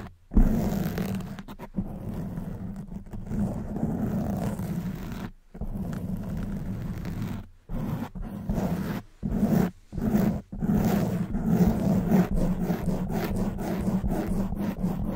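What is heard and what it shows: Long white nail tips scratch a black foam windscreen on a silver microphone, producing a dense, rumbling scrape with a low hum-like band around 200 Hz and little high-end content. The scratching runs in sustained stretches broken by several brief silent gaps, with fairly steady loudness throughout.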